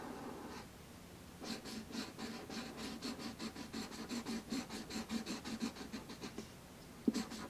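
A marker tip scratches quickly across a thin sheet of black paper resting on a red wooden tray, coloring in rapid back-and-forth strokes. After a quiet first second, a steady run of dry, bright, rasping scrapes with a low papery body continues for about five seconds. It pauses briefly, then ends with one louder burst of strokes.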